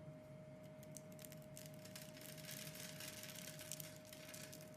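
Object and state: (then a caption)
Bar soap being cut. A metal utility knife blade shaves and cuts a solid rectangular pink bar of soap with a scored surface, held in the hand, into small flakes and crumbs. The result is a continuous, quiet, crisp scraping and crinkling with bright, gritty texture that grows denser midway, over a faint steady tone.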